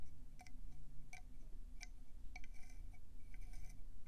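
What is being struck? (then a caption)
Conch seashell. Long painted acrylic nails tap quickly on a hand-sized, hollow, cream conch shell with brown speckles, held in both hands. The taps are short, sharp, glassy clicks with a bright edge that die away almost at once, scattered over a steady low rumble.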